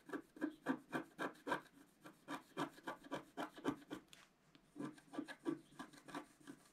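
A wooden stylus scratches a flat scratch art sheet, a black coating on paper, while the left hand holds it flat. It makes a quick, rhythmic series of short, dry rasping strokes with a brief pause near the middle before the scratching resumes.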